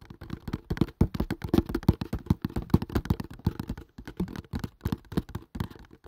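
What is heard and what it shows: A small, hollow kraft cardboard box with a printed label is held above the mic and tapped fast with the fingertips. The result is a rapid, uneven stream of dull, hollow thuds, mostly low in pitch, each ending almost at once.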